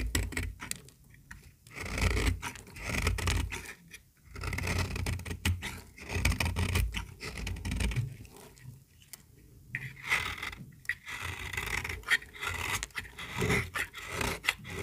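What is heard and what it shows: A small, solid, pink, dry bar of soap held in the hand is scraped and shaved with a metal utility-knife blade, producing fine shavings. Repeated dry, rasping scrape strokes carry a bright edge over a heavy low rumble, with short pauses between bursts.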